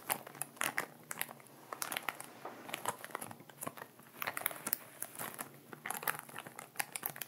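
Fingertips and nails rub and crinkle the empty upper part of a clear plastic ziploc bag of sea salt, held in both hands with the salt settled at the bottom. The result is a quiet, steady stream of bright, dry crinkling with many sharp little crackles and almost no low end.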